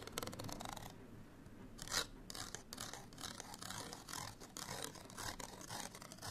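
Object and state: Paper card tag scratched.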